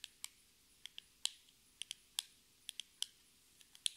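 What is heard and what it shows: Long red nails tap a small, hollow, rectangular metallic-pink cardboard cosmetic box 13 times at an uneven, unhurried pace. Each tap is a sharp, dry, bright click centred near 3.4 kHz with almost no low end. The clicks die away almost at once against a quiet background.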